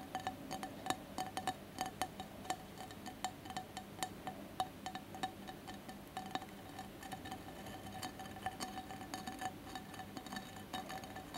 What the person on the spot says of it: ASMR tapping and scratching on glass candle holder